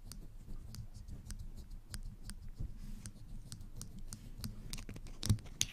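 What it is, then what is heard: Plastic clothespins clicked. Two small blue plastic clothespins, one held in each hand close to a fuzzy-covered microphone, have their springs squeezed and clicked open and closed with fingertips and long nails. Quiet, irregular bright clicks and light scratches sit over a soft low rumble. Near the end come two louder, sharp snaps.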